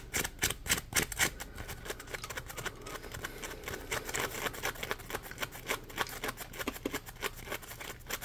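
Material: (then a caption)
Polymer foam. Fingertips scratch the ridges of a palm-sized, solid, yellow ridged polymer foam Scrub Daddy sponge. The result is a rapid, uneven stream of bright, crisp scratching clicks over a soft, steady hiss, with each stroke dying away almost instantly.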